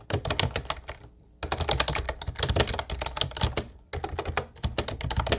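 Fast fingertip typing on a light blue plastic Ubotie retro keyboard with round white keycaps produces rapid, bright clacking keystrokes over a low thump. The typing comes in quick bursts, with a short pause after the first second and another just before the four-second mark.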